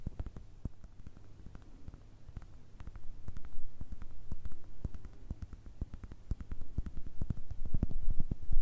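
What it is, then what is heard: Leather baseball tapped with nails. Long red nails tap and scratch a palm-sized soft baseball with a leather-like cover and red stitching, held in one hand. The result is quick, irregular, dry clicks and soft scratching over a faint low hum, growing slightly louder toward the end.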